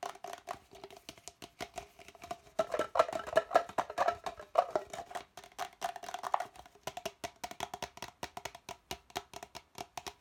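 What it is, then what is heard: Plastic cup, empty and hollow. An empty, hollow red plastic party cup, held upside down and sideways, is tapped and scratched with the fingertips and nails. The result is a fast, dense stream of short, dry, hollow clicks and taps with a woody, mid-pitched knock, plus bright scratching textures that swell in the middle of the clip.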